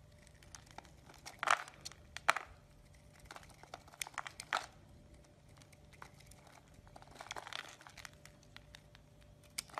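A metal blade shaves and scrapes the edge of a solid, hand-size green soap bar held in the palm. Soft, dry crinkling scrapes run throughout, with a few louder crisp bursts and short bright ticks over a quiet, steady background.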